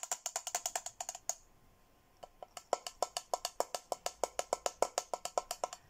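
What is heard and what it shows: A hollow, handheld teal glossy plastic Hello Kitty tumbler is tapped on the rim and inside with fingertips and nails. It gives quick, dry clicky taps with a hollow tone around 566 Hz and bright high clicks that die away almost instantly. A fast run of taps stops for about a second, then resumes at a steady, even pace.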